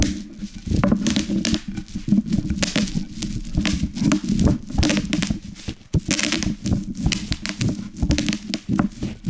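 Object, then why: Plastic bubble wrap crushed under a wooden rolling pin. A wooden rolling pin is rolled with both hands over a large sheet of plastic bubble wrap with hollow air cells, laid on a wooden cutting board. It makes a dense, irregular run of sharp pops and crackles over a steady low rolling rumble. The air cells burst in quick clusters throughout as they are crushed.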